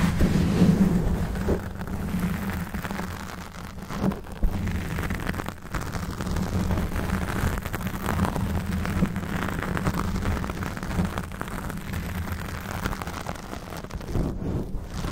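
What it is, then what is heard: Foam microphone windscreen being scratched. Long fingernails of both hands scratch and rub a black foam windscreen on a Blue Yeti microphone, with the face kept back from the mic. The sound is a steady, dense, muffled rumbling scrape, heavy in the low end with a faint hum near 184 Hz and almost no bright content, swelling and easing slightly throughout.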